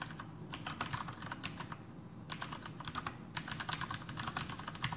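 Fingertips of both hands type continuously on a full-size black plastic Masterkeys Pro M mechanical keyboard with Cherry MX Brown switches and blue backlit keycaps, resting on a desk. Rapid, uneven key presses give soft, low thocks with brighter clacks on top, easing briefly near the two-second mark before picking back up.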